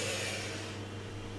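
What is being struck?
Nothing is struck.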